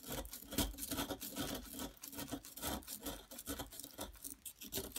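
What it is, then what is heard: Plaster block being scraped. A metal knife-like tool scrapes the end of a solid yellow plaster excavation block, raising a pile of powder. The result is a steady run of dry, rasping scrapes with bright, gritty texture. The strokes repeat at an uneven rhythm, with short pauses between them.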